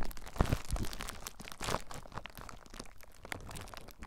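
Fingertips squeeze clear plastic bubble wrap wrapped around a recorder, then press and scratch the bubbles. A few sharp, close crunching pops with low thumps come early, followed by a quieter, steady stream of crinkling and scratchy crackles.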